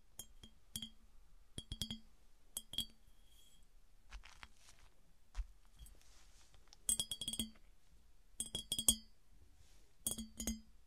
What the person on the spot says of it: 08:14 - 13:30 - Tapping on smooth glass piggy bank